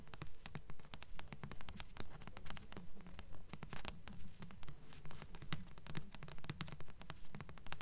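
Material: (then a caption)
Paper. Long nails tap and scratch the glossy front cover of a thick blue paperback book with solid paper, held upright in both hands. Quick, dry taps and scratches come in a steady, regular rhythm of rising and falling bursts, with a soft low thump under each and almost no ring.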